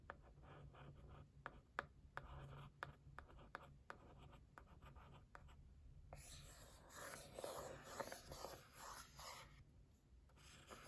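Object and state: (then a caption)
Cardboard gift box. A held white printed cardboard gift box is tapped and scratched with a thin wooden stick. Crisp, dry ticks in an uneven rhythm give way after about six seconds to a louder, rougher scratching over a faint low hum.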